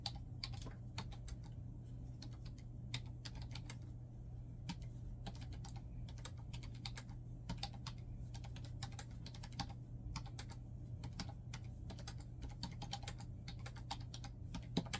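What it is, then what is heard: Plastic laptop keyboard being typed on. Fingertips type continuously on a black plastic laptop keyboard, producing rapid, short, crisp key taps with a bright click. A steady low hum sits underneath the typing throughout.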